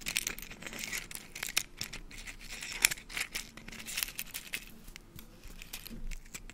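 An empty half of a brown hen's eggshell, with its white membrane visible inside, is held close to the mic and tapped, scratched and cracked with fingernails. Dry, bright crackles, crisp clicks and scratchy rasps come in an irregular stream. The sound is mostly high and crinkly with very little low end.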